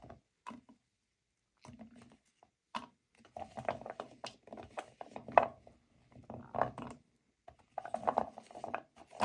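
A pile of dry natural cork wine stoppers in a white bowl is swept and gathered by hands using the fingertips and long nails. Soft, dry clattering and rubbing comes in irregular bursts with brief quiet gaps. The short, muted clicks sit mostly in the midrange, with little deep or bright content.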